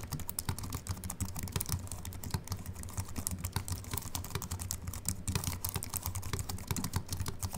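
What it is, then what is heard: Aluminium and plastic keyboard being typed on. Fingertips type on a slim Apple Mac keyboard with an aluminium body and white plastic keys, first with one hand and then with both. A quick, steady run of short, bright clicks and taps plays over a low, constant hum.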